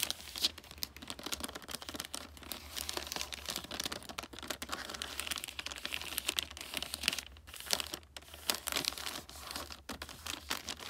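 Long nails scratch and crinkle the wrinkled, glossy red wrapping paper on a large flat gift. The result is a dense, continuous run of bright, dry crinkling and scratching with frequent quick rustles, over a faint low hum.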